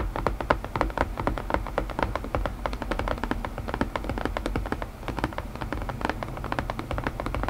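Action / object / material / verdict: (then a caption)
tap / wooden puzzle box / wood / none. Fingertips tap rapidly and continuously on a wooden puzzle box, producing a dense stream of short, dry taps with a low thud and a woody knock around the midrange. Each tap dies away almost instantly, with no speech heard.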